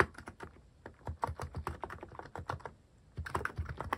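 Fingertips type on a mechanical keyboard with plastic cat-shaped keycaps, producing a steady run of short, sharp clacks with a low thump under each press. After a brief lull near the end, a few louder, brighter keystrokes follow.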